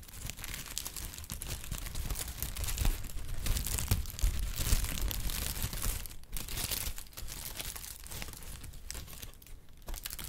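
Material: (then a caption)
Paper. A sheet of brown kraft honeycomb packing paper is crumpled and crinkled with fingertips, making a steady, dense crackle of papery rustles. Broad bursts reach up into the high range, over a soft low rumble. The crinkling swells louder through the middle and then eases into lighter, patchier rustling with brief pauses.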